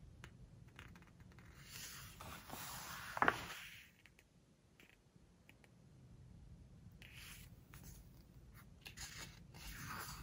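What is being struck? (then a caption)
Hardcover book with glossy paper pages. Fingertips and long nails turn and rub the glossy paper pages of a large open hardcover book. Soft, bright rustles and scrapes rise into a louder page-turning swish with a sharp crinkle near the three-second mark. Quieter brushing and sliding on the pages follow.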